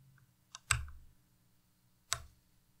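Fingertips press individual keys and arrow keys on a white plastic tenkeyless Ducky Miya Pro mechanical keyboard with Cherry MX Red switches. Three sparse keystrokes are heard: a light click, then two sharper clacks with a bright top and a short low thump, over a faint steady hum.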